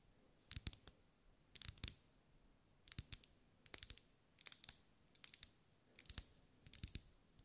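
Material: Wax.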